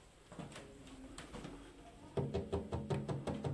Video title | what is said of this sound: ON DÉCOUVRE UNE COLLECTION D'ART ANTIQUE DANS UN MANOIR ABANDONNÉ (URBEX) feat (ED&ROKA, YNEK URBEX) | ça sonne creux on n pas sur de la vraie mosaïque c'est plutôt du plâtre décoratif